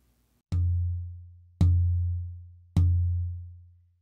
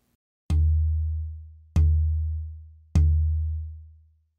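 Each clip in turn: First: Engelmann spruce soundboard plate tap tone. Second: western red cedar soundboard plate, low tap tone.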